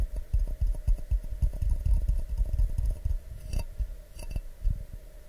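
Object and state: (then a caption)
Glass mug tapped with fingertips and nails. An empty, medium-sized, hollow clear glass mug held in both hands is tapped with fingertips and nails in a quick, irregular series of taps. Most taps are soft, dull low thumps that die away almost at once, with a few brighter clicks from the nails.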